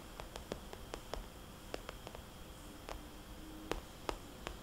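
Long nails tap and trace the dots on a small, rounded, red polka-dot cosmetics bag made of glossy coated vinyl plastic, which feels soft and hollow. Quiet, irregular, short bright clicks sound over a soft, low rustling background.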